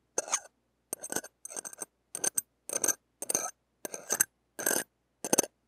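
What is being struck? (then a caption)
Small steel wire-mesh microphone grille. The hooked tip of a stainless steel ear pick scrapes over a small, hollow, hand-held wire-mesh steel microphone grille and its rim. About ten short, separate bursts of bright, crackly metallic rasping with a high whistling ring are heard, with silence between strokes and almost no low end.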